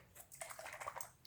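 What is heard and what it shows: A newly bought PBO bottle of blue drawing gum (masking fluid) is shaken by hand before being tested. Liquid sloshes inside with short, wet, dripping splashes in quick succession, bright with a mid-range tone around 1.1 kHz.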